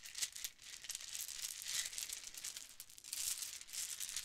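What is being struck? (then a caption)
Plastic bead necklaces. A bunch of metallic gold and blue plastic Mardi Gras bead necklaces, with small hollow beads on strings, is held in both hands and rolled and rattled with long painted nails and fingertips. The result is a soft, continuous stream of dense, bright clicking and rattling with almost no low end, swelling and easing in waves.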